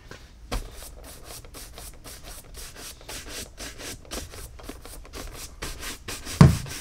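A tan Tecovas caiman leather cowboy boot, held in the hand and hollow and empty, is brushed quickly with a horsehair shoe brush. Rapid back-and-forth strokes produce a soft, airy bristle rubbing with a low hollow body to each pass. Near the end comes one louder, duller knock.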